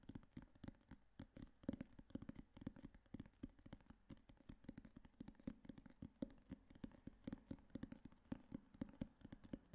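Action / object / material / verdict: tap / hardcover notebook cover / cardboard / none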